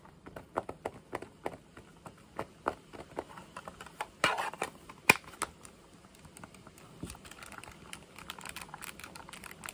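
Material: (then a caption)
Plastic. A handheld pink plastic calculator with a hollow plastic case is tapped with fingertips and short nails on its back, edges and keypad. A quick run of sharp, bright clicks and taps comes first, with a louder clack near the middle. It gives way to a denser, softer crackling patter of lighter taps.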